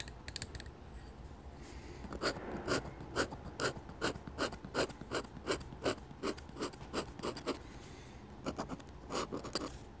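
A metal dip pen nib, held in the fingers, scratches ink lines onto a flat sheet of drawing paper while drawing a church. Quiet, bright, raspy strokes repeat in an uneven rhythm, each one short and dry, with brief pauses between bursts of line work.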